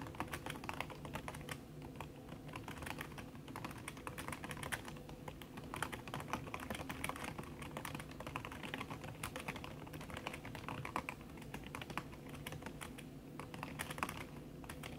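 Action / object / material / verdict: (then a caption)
tap / laptop keyboard with plastic keys under a silicone cover / silicone, plastic / none. Fast typing with fingertips and long red nails on a backlit aluminium laptop keyboard whose plastic keys sit under a red silicone skin. A steady, rapid stream of soft, muffled key taps with short dry clicks runs over a constant low hum. The taps stay quiet and even throughout.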